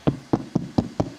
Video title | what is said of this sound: Installation éclairage de piscine sur membrane armée : Guide Complet #swimmingpool #piscines | quand on tape ici, on voit que c'est dur. Et puis si on vient vers là, on voit que là ça sonne creux